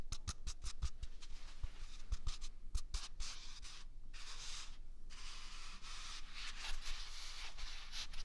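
A single large white paper toilet roll with a hollow core is held close to the microphone and scratched and rubbed with the fingers and palm. Sharp papery scratches and low thumps open the clip, then give way to a steady, bright, hissing rub that rises and dips in waves.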